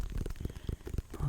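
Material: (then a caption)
Pumpkin rind. A white and orange striped pumpkin is tapped repeatedly with quick, soft, low thuds that die away almost at once. The taps fall in a steady, uneven run with no ring after each one.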